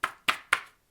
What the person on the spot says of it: when I knock on them, ow. Do you hear that? They're hard.